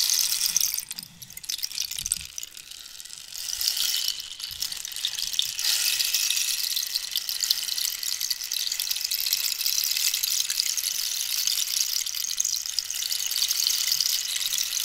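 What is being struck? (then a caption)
Dried cactus rainstick with loose filling. A long, hollow wooden rainstick made from dried cactus is held vertical and then tilted diagonally, so its filling cascades through it while long nails scratch the wood. The result is a bright, continuous rain-like hiss of fine pattering and rattling. It dips briefly near the start and then holds steady.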